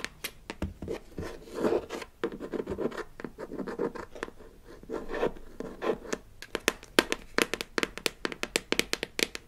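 Long acrylic nails scratch and tap a palm-sized, blue, hollow plastic box lid with an embossed smiley face, from a Melissa & Doug Super Smile Dentist Kit, held in one hand. Soft rasping scratches fill the first half, then give way to a quick run of sharp, bright, dry plastic taps that stop almost instantly.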